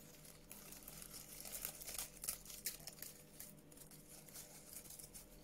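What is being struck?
Honeycomb-cut kraft paper wrap.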